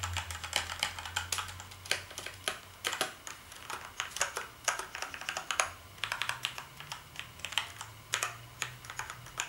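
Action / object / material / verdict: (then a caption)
tap / plastic keyboard keys / plastic / none. Fingertips type on the keys of a black plastic gaming keyboard with backlit keys, producing a steady run of quick, bright clacking keystrokes that stop short with almost no ring. A faint low hum sits underneath the typing throughout.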